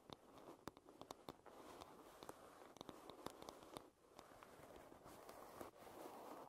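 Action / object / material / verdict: tap / wooden hairbrush back / wood / none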